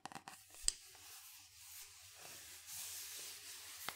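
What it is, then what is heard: Cardboard powder canister. Fingernails tap and scratch the side wall and base of a large, hollow cylindrical cardboard/composite powder canister, white with a yellow label, held on its side. Five quick, bright taps with almost no ring stand out, the loudest near the start. Between them runs a soft, steady, hissy scratching.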